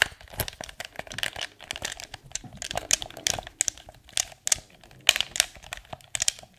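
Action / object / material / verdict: tap / hard plastic gamepad / plastic / none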